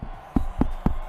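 Knuckles knocking on a wooden surface for luck, to avoid jinxing a team. Four dull, low thuds with a hollow resonance sound in quick succession, each fading quickly.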